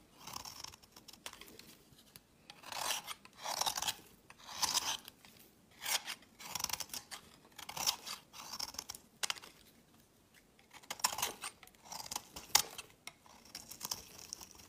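A hand-sized, solid rectangular white bar of soap is held in the hand and shaved with a metal utility knife blade, the curls and flakes piling onto a woven mat. Each stroke gives a bright, crisp, dry scraping crunch, repeated in short bursts with quiet pauses between them.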